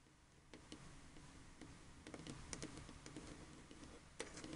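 A black, hand-sized, hollow plastic Xbox 360 controller lying on a table is tapped with painted fingernails on its body and around the thumbsticks, with some button clicks possible. The result is a quiet, irregular run of short, dry, clicky taps with bright ticking edges over a low background rumble, and a sharper tap stands out near the end.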